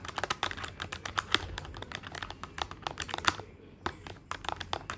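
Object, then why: Plastic desktop calculator keys. Fingertips rapidly tap the plastic keys of a black plastic desktop calculator with a hollow body. The result is a fast run of short, dry, bright clicks, with a brief pause just past the midpoint before the tapping resumes.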